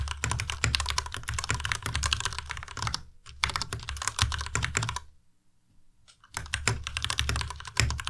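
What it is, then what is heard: Plastic mechanical keyboard. A white plastic Ducky Miya Pro tenkeyless mechanical keyboard with RGB backlight is typed on continuously with the fingertips of both hands. Rapid, bright key clacks sit over a low thocky body, broken by a brief pause near the third second and a longer silence before the typing resumes.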